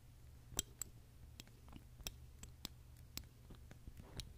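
A long fingernail taps repeatedly on the cap and neck of a small glass perfume bottle filled with red liquid, held in the hand. About nine sharp, bright clicks sound at irregular intervals over a low steady hum, each dying away almost instantly.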